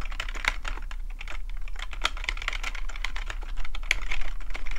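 Fingertips of both hands type fast on a black plastic full-size computer keyboard with a hollow housing, resting on a fluffy rug. The result is a rapid, irregular stream of short, bright plastic key clicks that grows slightly louder toward the end, over a steady low hum.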